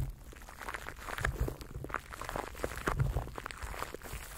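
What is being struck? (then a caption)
Plastic cling film wrapped over a microphone. Fingertips rub and crinkle clear plastic cling film wrapped around a microphone held in both hands. The result is irregular crackling and crinkling bursts over a dense, low, rumbling handling noise, with quick-fading snaps scattered throughout.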